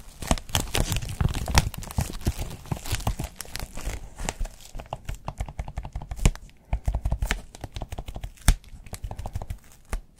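Hands crumple and rub a thin white textured foam wrap sheet folded over an item with their fingertips. It makes a dense run of rapid, dry crinkling and tearing-like crackles with soft, low thumps underneath. Each sharp snap dies away almost instantly, and the activity thins slightly toward the end.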